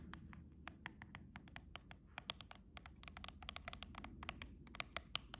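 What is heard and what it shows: Long rhinestone-covered press-on nails tap and scratch along the edge of a silver cardboard nail box. The result is a quiet, rapid run of sharp, dry, bright clicks with almost no ring, over a soft low rumble.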